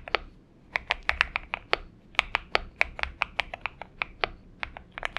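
Fingertips of both hands type continuously on a purple-backlit Xinmeng M71 70% mechanical keyboard with an aluminum case and PBT keycaps, resting on a desk mat. The result is a steady run of short, crisp keystroke clicks, bright and centered around 2 kHz, each dying away almost instantly with little low-end thump.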